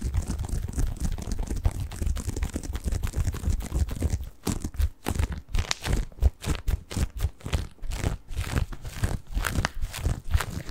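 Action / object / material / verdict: scrape / padded bath pillow with plastic mesh cover / plastic mesh / none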